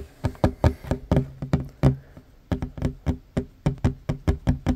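Short fingernails and fingertips tap quickly on a worn, large, solid wooden tabletop, making dry, dull knocks with a low thud and almost no ring. The taps come in rapid bursts with a brief pause in the middle.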